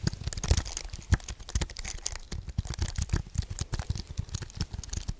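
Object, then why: Computer keyboard with aluminium frame and plastic keys. A white wireless keyboard with an aluminium frame and plastic keys is held close and tapped and clicked with fingertips and nails, while one hand strokes across it. A dense run of quick, dry clicks and taps with a low thump under them and a bright clatter on top, plus a soft brushing sound.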